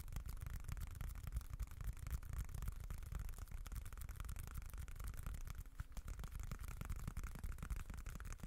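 A small, dark, folded leather-look wallet is scratched with short nails and fingertips. It makes a steady, dense, quiet scratching that is mostly low rumble, with faint brighter rasp on top.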